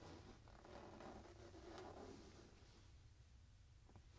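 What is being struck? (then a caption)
Fabric pillow. Fingertips and nails quickly scratch and patter across a soft printed fabric pillow. The result is a quiet, continuous scratchy rustle with a soft low rumble underneath, which eases off slightly toward the end.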